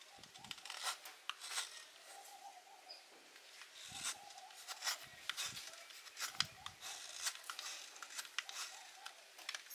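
A small metal blade scrapes and carves shavings off a palm-sized solid blue Rin laundry soap bar held in one hand, and the shavings fall onto a concrete floor. Repeated short, dry scraping strokes and crisp flicks are heard, bright and hissy with almost no low end, each dying away quickly over a faint steady rustle.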